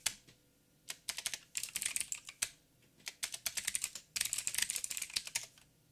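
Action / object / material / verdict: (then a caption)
tap / mechanical keyboard with plastic keycaps / plastic / none. Fingertips of both hands type on a backlit mechanical keyboard with black plastic keycaps on a silver frame and a hollow housing. Bursts of rapid, bright, clicky taps with very short decay are separated by brief pauses, with almost no low end.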